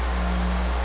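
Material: Nothing is struck.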